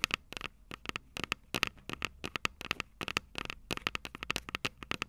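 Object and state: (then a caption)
Metal microphone capsules tapped with fingernails. Long purple nails tap the small, hollow, silver metal microphone capsules on a Tascam DR-05 recorder in a rapid, irregular series of sharp, bright clicks. Each tap dies away almost instantly and carries a metallic ping near 2.6 kHz, with little low end.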